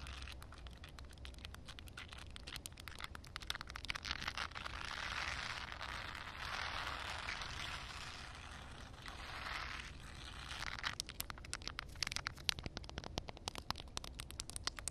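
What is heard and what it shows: Long painted nails tap and scratch on a flat, solid outdoor concrete slab covered with a puddle layer of water. Quick, crisp clicking taps open and close the clip, while the middle stretch turns into a smoother, bright, hissy scraping wash. A faint low rumble runs underneath throughout.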